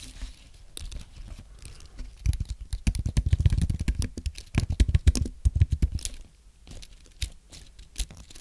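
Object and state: Aluminum and plastic keyboard being typed on.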